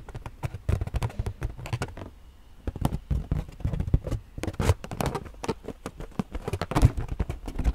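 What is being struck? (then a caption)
Inflated rubber balloon. A hollow, purple inflated latex rubber balloon is tapped and scratched with long nails. Rapid, dull, low thumping taps run throughout, mixed with faint scratchy rustling and broken by a brief quieter pause in the middle. Each tap dies away almost at once.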